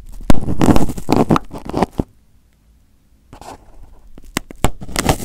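Fingertips and short nails pick and pinch at crumpled aluminium foil wrapped over a microphone head, producing close, muffled crinkles and sharp pops. A dense burst of crackling is followed by about a second of near silence, then quieter rustling with a few loud snaps. The sound is heavy and boomy in the low end from the covered mic.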